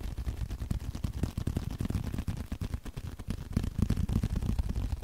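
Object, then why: Small leather card holder. Fingertips tap and scratch a small, flat blue leather card holder held close to the mic. Rapid, uneven, dull thumps stay deep and muffled, each dying away almost instantly, with soft scratchy rustling between them.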